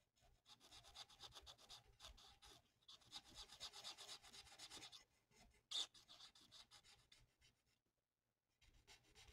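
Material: Paper.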